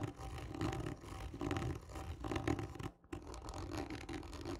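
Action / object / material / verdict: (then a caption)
scrape / cardboard tube / cardboard / none. Long nails scratch hard and slowly across the surface of a hollow, textured cardboard tube lying on its side. Rough, dry scraping strokes carry a hollow, boomy resonance. The strokes come in waves with a brief near-silent pause partway through.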